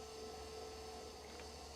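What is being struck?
Nothing is struck.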